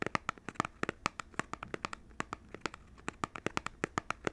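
Fingertips and nails tap and scratch the surface of a small, hollow, printed cardboard Nintendo Switch controller box held in both hands. About 29 quick, dry taps come through with a hollow knock around 1.2 kHz and bright papery clicks on top. Faint scratching and crinkling fill the gaps between taps.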